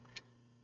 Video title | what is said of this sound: Kapps Kreations Live Stream | sound like it's Hollow when you tap on it